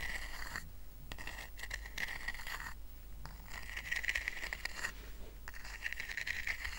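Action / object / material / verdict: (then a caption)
scrape / woven rattan coaster / rattan / none. Short fingernails scratch across the woven strands of a small, round, flat rattan coaster that is lifted and then set down on a blanket. Bursts of dry, bright scratching with a steady ringing tone near 2 kHz come in waves, broken by brief quiet pauses.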